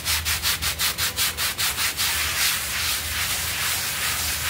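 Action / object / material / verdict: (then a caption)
scrape / synthetic pile carpet scrubbed with a stiff brush / synthetic fibre / none. A small blue synthetic pile rug covered in white foam on a tiled floor is scrubbed in circles with a stiff-bristled hand brush while the other hand holds it flat. About the first two seconds bring fast, regular bright swishes, then they blur into a steady, hissy rubbing wash.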